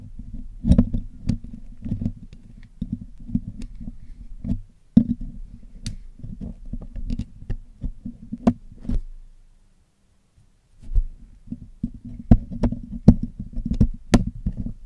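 A thin metal needle pick scratches and picks along the black woven metal mesh grille of a Blue Yeti USB microphone, a hollow, roughly fist-sized head held steady in one hand, as the grille is cleaned. Close, dry scraping heavy in the low end is punctuated by many short, sharp metallic ticks with bright edges, each dying out almost instantly. Near the middle the picking stops for about a second of near silence before resuming.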